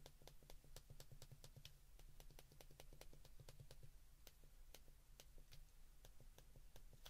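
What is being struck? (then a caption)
Plastic flip phone keypad. A small white plastic flip phone is held in both hands while fingertips and thumbs press its keypad buttons in quick succession. Sharp, bright plastic clicks follow one another rapidly over a steady low hum throughout the clip.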